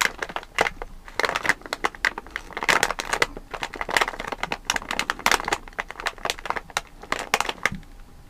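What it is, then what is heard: Plastic candy bag. Fingertips and nails tap and rub the back side of a full, sealed plastic Malang Cow candy bag. The result is a quick, uneven run of sharp crinkling taps and rustles, bright and papery with almost no low end, each tap dying away almost at once.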